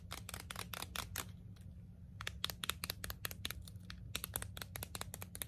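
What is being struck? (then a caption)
Clear plastic wrapping on a nail file. Long blue acrylic nails crinkle and tear open the clear plastic packaging on a long red emery nail file held in both hands. A rapid, irregular series of short, crisp, bright crackles and snaps plays over a low, steady hum.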